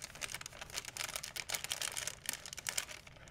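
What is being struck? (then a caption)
Thin plastic shopping bag. An empty white plastic shopping bag is rubbed and crinkled with fingertips, giving quiet, bright, dry crackles in a rapid series of short bursts. The bursts fade instantly with almost no low end, and the rustling keeps a steady, irregular rhythm.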